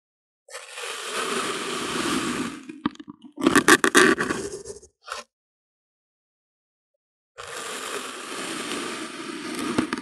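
The rim of a clear plastic bottle, held in hand, presses into and cuts a flat, solid slab of pink kinetic sand lying on white paper. A steady, bright, grainy scraping hiss is followed by a cluster of louder, sharp crunches, a brief crunch, and a silent pause. Another stretch of continuous gritty scraping then runs to the end.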